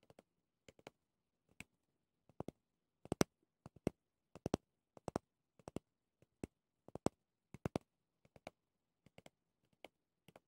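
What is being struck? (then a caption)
Small pumice-topped brush with a clear plastic body. Fingernails tap and scratch the pumice disc and clear plastic rim of a small pumice-topped brush with a clear plastic base. Quiet, dry, sharp clicks come in irregular pairs and clusters, with bright edges and a faint low body. Each click dies away almost at once, with silence between them.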